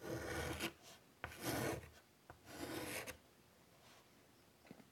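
White chalk scratches flowing lines near the top edge of a large wood-framed chalkboard. Three broad, raspy strokes each last around half a second, with short pauses between them. Faint taps and quiet scraping follow, and the sound ends in a low hush.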